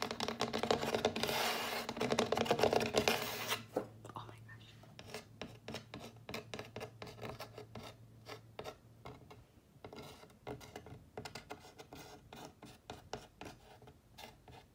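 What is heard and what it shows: Fingertips and nails scratch and rub the printed face of a wooden-framed "Here comes the sun" sign standing on a windowsill. A dense, continuous rasping scrape fills the first few seconds, then gives way to quieter, irregular short scratches and taps with a faint low hum underneath.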